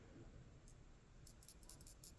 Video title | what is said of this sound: Fix Hyosung/Suzuki fuel cap not venting properly | this has a little pinball that goes up and down to let it vent, and you can hear it whenever you shake this